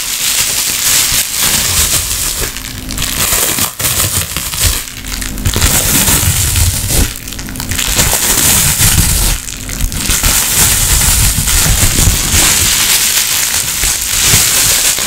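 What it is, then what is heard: Plastic bubble wrap. A roughly hand-sized sheet of green plastic bubble wrap, held in both hands, is crumpled, squeezed and popped with fingers and long nails. The result is a dense, continuous run of bright crackling and crinkling broken by sharp little pops and soft low rustles.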